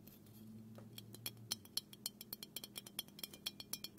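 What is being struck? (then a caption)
Aluminum aerosol can. Fingernails tap and scratch along the body of a small black aluminum aerosol can of dry shampoo, hollow and pressurized, held in both hands. About 21 quick, bright metallic clinks ring high and die almost at once, coming roughly four per second but unevenly spaced. A faint low hum sits under the first second and a half.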